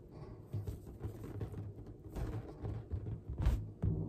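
A large, hollow, air-filled pink latex balloon is held in both hands and tapped and rubbed with long dark-painted nails and fingertips. The taps and rubs give soft, irregular, deep hollow thumps with a low rubbery rumble and faint scratchy friction between them.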